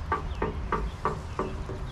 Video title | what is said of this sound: Lowell Cemetery Tour by Richard Howe. April 20, 2024. | if you knock on it it's Hollow and that's because it's not made out of stone it's made out of zinc